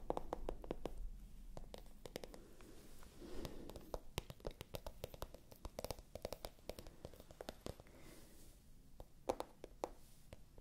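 A small, pale pink, glossy patent-look faux leather handbag with a gold chain, hollow and held in the hands, is scratched and tapped on its surface with long nails. Quiet, dry clicks and taps come in quick irregular bursts over a soft scratching rustle, with a hollow mid-range tone and almost no ring after each hit.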